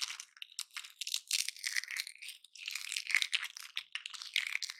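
A large, solid, layered slab of dry pine bark is held in both hands over loose bark flakes while fingertips and nails pick, scratch and crumble off its flaky outer layers. The result is a steady stream of dry, bright crunching and crinkling crackles in short, uneven bursts, with no low end and almost no ring after each scrape.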